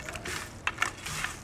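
Tandoor-baked pasta chips, cooled slightly, are handled to show their crispness, giving off dry, brittle crunching and crackling with sharp clicks around 1.8 kHz and a bright hiss. The chips sound baked dry and crunchy.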